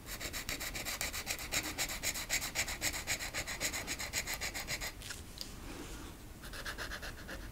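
A marker tip scratches and rubs across a small, flat, solid wooden rocking horse cutout ornament, coloring its green rocker while fingertips with long nails hold it flat. Quick, even back-and-forth strokes make a bright, dry scratching at about four per second for the first five seconds. The strokes then ease into a softer, smoother rubbing before the brighter scratching returns near the end.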